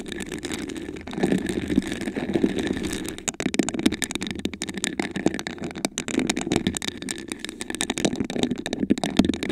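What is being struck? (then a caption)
Textured glass vase. Long acrylic nails scratch and tap across a tall, hollow, iridescent glass vase with a raised honeycomb pattern; the vase is apparently empty and held in both hands. The result is a dense, steady, rattling texture of rapid clicks and scrapes, with a warm low-mid body and bright crackling edges. Each contact dies away almost instantly rather than ringing.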